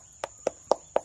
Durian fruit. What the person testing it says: เสียงมันอย่างเงี้ยลม